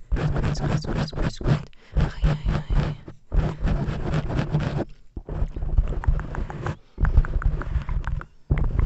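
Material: Foam.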